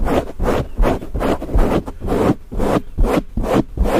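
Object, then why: Foam microphone windscreen. Fingertips and nails of both hands scratch and rub the dark grey foam windscreen covering a Blue Yeti microphone head. The result is a fast, uneven run of dull, rumbling scratch strokes, heavy in the low end with little brightness.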